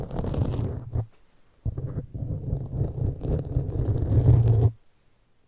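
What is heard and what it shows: Long pointed metal claw fingertips scratch and tap across a black foam windscreen on a large microphone. The result is a dense, muffled, low rumbling scrape centered around 125 Hz, with almost no bright content. It breaks off briefly near one second, resumes, and cuts to near silence just before five seconds.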